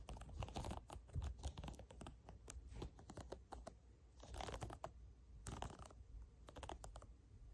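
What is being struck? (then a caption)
Silicone pop-it fidget toy. Fingertips and short nails press, tap and pop the hollow domed bubbles of a small, round, hand-sized pastel tie-dye silicone pop-it fidget toy up close. The result is a quick, uneven stream of soft, dull taps and muted pops with a low, thuddy body and very little ring, rising and falling in busy bursts.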